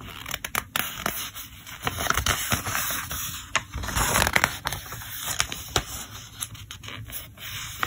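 Fingertips rub along and turn the page edges of a thick paper catalog lying open flat, including its yellow tab pages. Dry, bright scraping and rustling runs throughout, broken by many short, crisp paper ticks and flicks.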